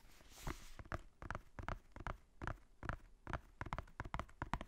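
Fingertips tap quickly on the cover and spine of a black hardcover notebook with a faux-leather cover and white page edges, held beside the microphone. After a brief bright hiss at the start, about sixteen short, dull, low taps follow at an uneven pace, each dying away almost at once.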